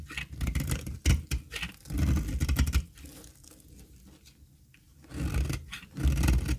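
A dry, solid square bar of cream olive oil soap is held in the hand and scraped with a metal utility blade. The result is crackly, rasping scrapes with a low thudding body, coming in bursts with a quieter, softer stretch in the middle.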